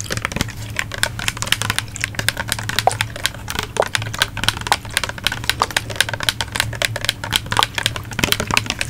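A medium-size, hollow yellow-green plastic bottle, like a body wash or lotion bottle, is held in one hand in front of a fluffy microphone cover and tapped rapidly with long acrylic nails. Quick, dry, bright clicks come in a dense, uneven stream over a steady low hum, each tap dying away almost instantly.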